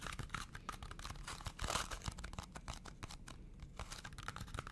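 Fingernails tap and scratch a small, hollow red cardboard McDonald's fries carton, making a steady run of quick, dry taps mixed with crisp, papery scraping. The sounds die away almost at once, with a louder, denser burst of scratching near the middle.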